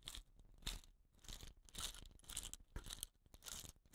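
Fingertips and nails scratch the woven rattan binding on the end of a hollow, dot-painted bamboo rain stick. The result is irregular bursts of dry, crackly scratching with bright hiss and faint low thumps, rising and falling in uneven clusters.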